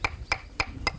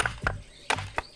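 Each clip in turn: First: sound mudstone block. Second: cracked mudstone inkstone blank.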